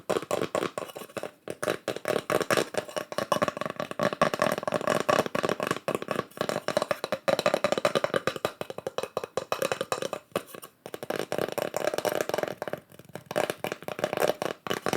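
Fingertips tap rapidly on wooden slices with pyrography mushroom art burned into them and wood-grain swirls on both sides. The taps are short, dry, hollow knocks centred around a mid pitch near 580 Hz, with almost no ring. They run in quick uneven bursts for the whole 15 seconds, broken by a few brief pauses.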